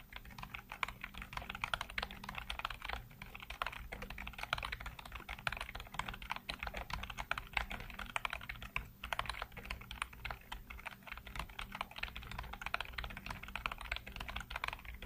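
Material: Plastic.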